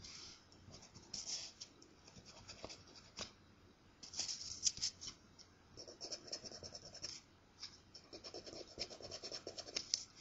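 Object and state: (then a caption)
Paper scratch-off ticket scraped with a coin. A coin scrapes across the surface of a thin, flat paper scratch-off lottery ticket. The result is a series of quick, bright, gritty scratching strokes that come in bursts with short pauses between them. A few passes add a lower rasping layer.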